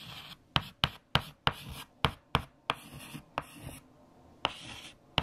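A hand writes digits with a white chalk stick on a large, flat black chalkboard. Ten sharp taps ring out as the chalk strikes the board, each followed by a brief, bright scratching stroke, with short gaps of near-silence between them.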